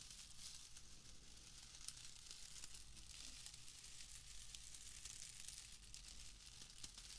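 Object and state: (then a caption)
Wood wool bundle being crumpled. A loose, airy bundle of pale shredded wood wool is held in both hands and crumpled and rubbed between the fingers close to the mic. It makes a steady, bright, dry crinkling and rustling with small crackles running throughout, over a faint low hum.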